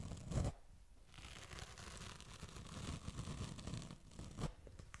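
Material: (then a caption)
Plastic. Fingertips and nails scratch and rub across the ridged plastic lid of a small, hollow, hand-held oval black plastic shoe shine sponge case, its lid closed over a tan sponge pad, right beside the mic. The result is a close, low-heavy, rough scratching and rustling texture, with louder brushing bursts at the start and near the end.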